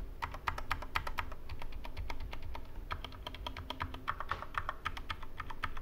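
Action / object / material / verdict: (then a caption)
tap / mechanical keyboard with plastic keycaps / plastic / none. Right-hand fingertips type on the right side of a Corsair K65 Mini 60% mechanical keyboard with plastic keycaps and Cherry MX Red switches, resting on a wooden desk. A quick, steady run of short, clacky keystrokes rings with a bright tap centered near 1.2 kHz over a low, dull thud, each stroke dying away almost at once.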